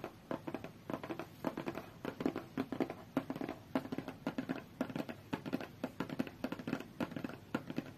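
Long fingernails tap and scratch the top and edge of a closed, hollow, medium-sized white cardboard tablet box. Quick, dry taps with a hollow, papery resonance come in irregular bursts, mixed with soft scratching and crinkly rustles. Each tap dies away almost at once.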